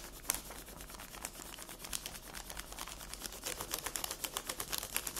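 Long red nails rest on a flat sheet of paper colored with pink pencil, lying on a table, and tap it with their tips while the hand stays in place. The result is a fast run of short, dry, bright clicks that die away instantly. The taps start soft and grow louder and more distinct toward the end.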